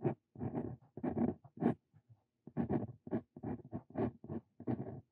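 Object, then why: Steel dip pen nib on a paper sheet. A steel dip pen nib scratches text onto a lined paper sheet in a series of short, dry strokes. The scratching comes in quick bursts separated by brief pauses, with a mostly low-mid, papery rasp and almost no bright content. Each stroke stops cleanly with no ring.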